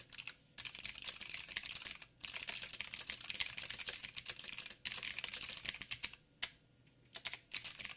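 Fast two-handed fingertip typing on a backlit 87-key mechanical keyboard with plastic keycaps and clicky blue switches produces dense bursts of sharp, bright clicks. The typing runs in rapid flurries separated by short pauses, and each click is crisp and dies away almost at once.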